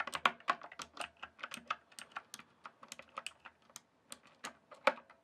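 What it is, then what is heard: Plastic computer keyboard. Fingertips type and tap on the keys of a full-size backlit plastic RGB computer keyboard, producing about twenty quick, dry clicks with a bright, light tone and almost no low end. The taps come in an uneven rhythm with a short pause near the four-second mark, and each one stops almost instantly.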